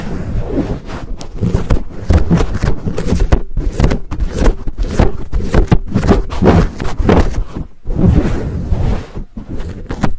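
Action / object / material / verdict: scrape / foam microphone windscreen / foam / none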